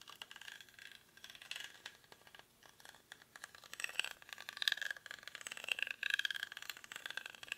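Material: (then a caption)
Rattan. A small, hollow woven rattan or reed basket is held close in both hands and scratched with short fingernails across its woven surface. The result is a quiet, dry, crackly scratching made of dense bursts of quick ticks and rasps. The sound is bright, with almost no low end and no ringing after each tick.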